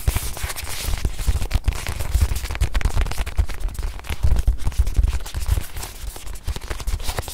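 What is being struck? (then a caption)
Padded faux-leather watch pillow. A small white padded faux-leather watch pillow, held in both hands, is tapped rapidly with long nails. The taps come as a dense run of soft, short, low thuds with quick decay and faint crackly clicks on top.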